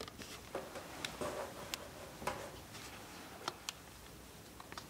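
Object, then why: Soap bar scraped by a steel blade. A steel multitool knife scrapes shavings off a solid blue bar of soap held in the hand. About eight short, crisp scraping clicks with a bright edge stand out over a soft, steady rasp. Thin shavings peel away from the bar.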